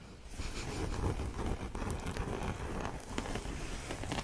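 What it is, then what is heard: Printed canvas tote bag. Fingertips and nails scratch and rub across the printed surface of a flat, empty cotton canvas tote bag with a dark printed design and blue lettering, lying on a fleece blanket. The sound is a steady, dull rustling and scraping, mostly low and muffled, with a few brief brighter scratches standing out.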